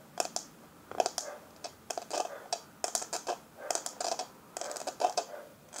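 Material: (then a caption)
Metal. Long fingernails tap and scratch the lid of a small, hollow, round rose-gold metal powder compact held in the hand. The result is quick, bright clicks and scrapes in uneven bursts, each with a short metallic ring around 730 Hz and almost no low end.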